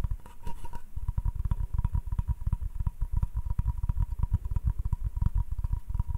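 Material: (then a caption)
Wood. Fingertips and nails tap quickly on the face of a solid wooden cutting board held in one hand. The result is a dense, uneven patter of short, dull low thuds with a faint steady tone just under 1 kHz running underneath.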